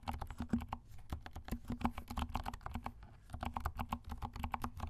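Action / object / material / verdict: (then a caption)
tap / plastic mechanical keyboard / plastic / none. A compact black plastic mechanical keyboard with black and pink plastic keycaps is typed with the fingertips of both hands. It gives a steady run of soft, quick clicks, each with a short low thump and a bright tick. The strokes come in brisk bursts with a brief lull near the middle.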